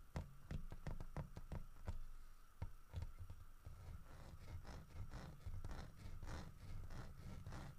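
Fingertips knock and tap the body of a large, solid carved wooden bear holding a wooden fish, while the other hand steadies it. The knocks are dull, low thuds that stop almost instantly, spaced apart at first and then running into quicker, softer patters.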